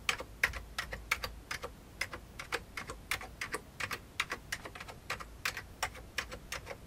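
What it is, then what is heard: Plastic computer keyboard being typed on. Fingertips of the right hand type on the keys of a full-size vintage beige plastic computer keyboard, producing about 33 short, bright plastic clicks in an uneven rhythm. Each keystroke is crisp and dies away almost at once, with little low-end weight and a quiet hiss between strokes.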